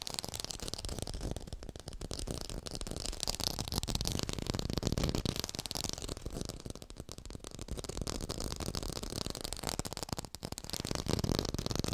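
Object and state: Fake textured orange.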